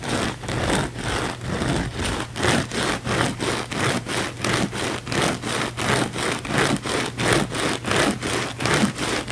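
Fingernails scratch fast and hard at a thick, layered blue foam sponge held in the palm. The strokes make a rhythmic series of raspy, bright, hissing bursts, with a steady low hum underneath throughout.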